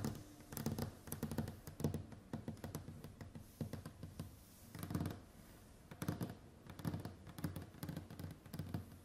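Long white acrylic nails on both hands tap and scratch a large, solid wooden tabletop with a varnished surface. Bursts of quick, dull, low knocks mixed with light scratching come in rapid clusters, each hit dying out almost at once.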